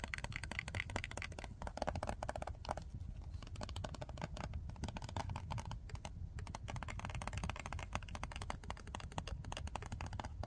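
Long nails tap and scratch rapidly across the surfaces of a tall, pink, printed cardboard box of nail wipes, closed and holding its contents. The result is a dense, continuous stream of quick, dull clicks and scrapes with a heavy low-end thump and little brightness, each tap dying away almost instantly.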